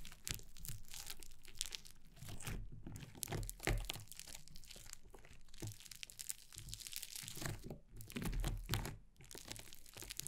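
Long painted nails and fingertips press, poke and scrunch a flat lump of soft, solid yellow fluffy, grainy foam slime on a wooden table. The kneading makes a steady stream of dense, crackly crunches and crinkles with soft low thumps underneath, from start to finish.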